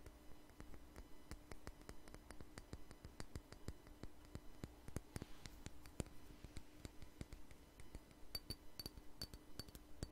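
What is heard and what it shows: A small glass perfume bottle filled with amber liquid is held in the hand and tapped with fingernails. Quick, irregular, crisp clicks and bright glassy clinks repeat throughout, with no ring after each tap. A faint steady low hum runs underneath.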